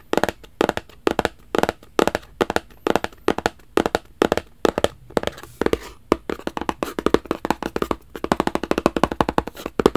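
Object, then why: Rigid cardboard box. Fingertips tap repeatedly on a hollow, black rigid cardboard gift box, making quick, dry, hollow knocks with a mid-range body and almost no ring. The taps come in a steady rhythm at first, then turn into faster, denser flurries toward the end.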